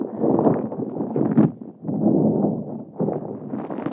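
A palm-sized, hollow, yellow-green spiky rubber massage ball is held close to the microphone while long acrylic nails scratch and squeeze its spikes. The result is dense, crackly rubbery scratching in the low-mid range, with bursts that swell and fade across a steady rhythm of repeated squeezes.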